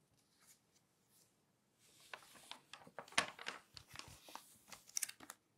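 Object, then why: Glossy paper magazine pages. Glossy magazine pages are turned and rubbed flat with the fingertips. A few faint soft rustles give way, after about two seconds, to denser bright crinkling and papery swishes with short sharp crackles. The sound stays quiet and high, with almost no low end.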